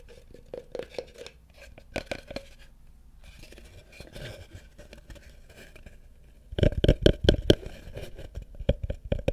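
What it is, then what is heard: Wooden bucket tapped and scratched. Fingertips and nails tap and scratch the outside of a small hollow wooden bucket set upside down over a microphone. Soft, scattered taps and light scratching fill the first six seconds. A burst of louder, quicker tapping follows, with a hollow, boomy low resonance that fades quickly after each hit.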